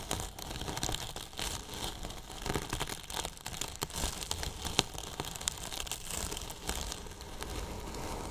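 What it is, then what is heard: Polyethylene foam box being brushed. Two thin paintbrushes scratch and brush near the top edge of a large white hollow polyethylene foam box with a microphone inside. The result is a steady, crinkly, scratchy rustle scattered with sharp little ticks, carrying both a bright hiss and a low rumble throughout.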